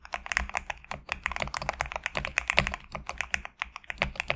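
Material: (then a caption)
PBT plastic. Fingertips type quickly on a GMK67 compact mechanical keyboard with PBT plastic keycaps resting on a desk mat. The result is a rapid, uneven stream of crisp, short clacks with a bright click centered around 2.4 kHz. Each keystroke dies away almost instantly, over a faint low hum.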